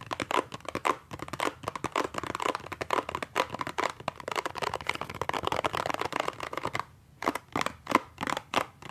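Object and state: Cardboard toothpaste box.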